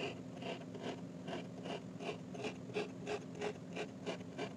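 A metal fork repeatedly pokes and stabs rows of holes into a flat, solid, hand-sized heart-shaped slab of pink kinetic sand resting on a white surface. Each stab makes a soft, gritty crunch with a brief bright rasp, repeating in a fairly steady rhythm of about three per second over a constant low background hum.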